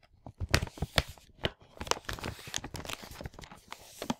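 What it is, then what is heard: Plastic packaging bag of parts, handled. A large printed plastic LEGO packaging bag for the Hero Factory 44022 set, full of parts, is turned over in both hands while fingers crinkle and rub it. Sharp, bright crackles and crunchy rustles come in uneven bursts, with soft low thumps from the parts shifting inside. Each crinkle stops quickly, leaving short quiet gaps between.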